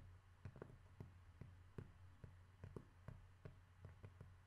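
A cork object is tapped at an irregular pace, giving about twelve soft, dull taps that die away almost at once. A steady low hum sits beneath the taps throughout.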